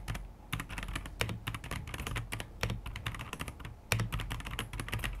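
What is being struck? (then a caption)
Plastic mechanical keyboard. A white AKKO PC75B 75% mechanical keyboard, about 33 cm wide, with plastic keycaps and a translucent plastic case with RGB underglow, rests on a wooden desk and is typed on continuously with the fingertips of both hands. Rapid plastic taps on the keys and switches patter steadily with a low body and bright clicks, and a few louder strikes stand out.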